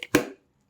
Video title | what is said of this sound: Latest Moterm Luxe 2.0 Planner, close-up review of all the juicy details | Nice solid sound to those rings. There's no ring wobble, there's no rattling from the rings.